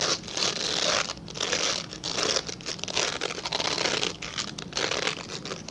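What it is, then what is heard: Glycerin soap bar scratched. A translucent solid glycerin soap bar held upright is scratched quickly with fingernails. It gives a dense, bright, crinkly scratching in rapid bursts that swell and ease throughout, with almost no low end.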